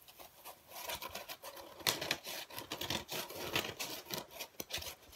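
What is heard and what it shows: Fingertips squeeze and scratch the surface of a large, flat, dark grey and black speckled foam packaging insert with cut-out slots, light and soft and held in both hands. The result is a steady run of dry, bright, crackling scratches and short squeaky rubs, with almost no low end and little ring after each stroke.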